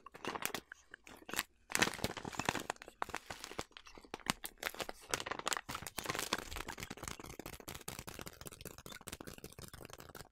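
Hands with long nails squeeze and crinkle a large yellow plastic bag of quick oats, partly full. Dense, bright crackling and crunching runs throughout in rapid overlapping bursts, louder early on and settling into a steadier, softer crinkle toward the end.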